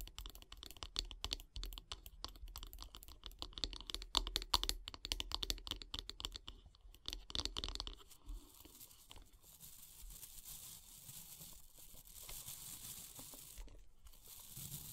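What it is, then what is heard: Wooden bath brush handle. Long nails tap rapidly on the solid light-wood handle of a bath brush, making a dense run of sharp, dry clicks with a low thump beneath. After about eight seconds the nails move to the brush head, and the sound turns into a steady, bright, hissing scratch of bristles.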